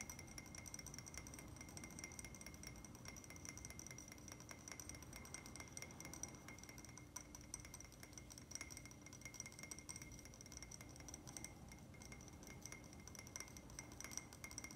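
A small, empty, hollow cream-glazed ceramic plant pot is tapped quickly and continuously with fingertips and nails. The result is a dense, quiet stream of short, dry clicks and clinks, each dying away almost instantly, with a faint steady tone near 2 kHz and a bright, high ring.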